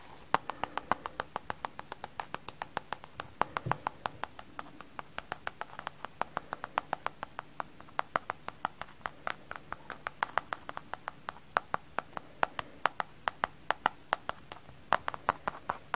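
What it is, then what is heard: Frozen stiff sponge. A kitchen sponge frozen solid is tapped in a quick, uneven series of sharp, dry clicks. Each hard tap dies away almost instantly and centers around 900 Hz, with a faint hiss between hits.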